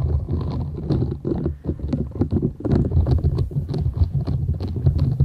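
A flat, thin, solid purple silicone scrubber sponge with short bristles is held folded in both hands while long nails scratch across the bristles. The result is a dense, rumbling, crackly scratching with a deep low-end thrum and quick patter-like flicks. Faint bright ticks sit on top throughout.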